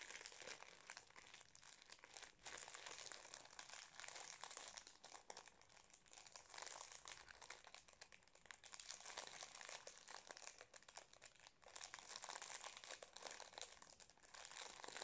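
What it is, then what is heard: Foil-plastic snack cake wrapper. Fingertips and nails crinkle and scratch the metallised foil-plastic wrapper of a Napolitain cake held upright. A quiet, continuous, bright crinkling runs throughout, with dense crackles and scratchy rustles that swell and ease in waves, and almost no low end.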